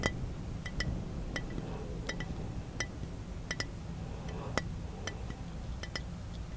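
Fingertips tap the side and shoulder of a round-bodied glass bottle held in the hand, making 13 short, bright clinks with a tone near 2 kHz. Each clink fades almost at once over a steady low background hum.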